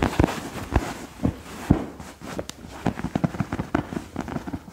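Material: Fabric.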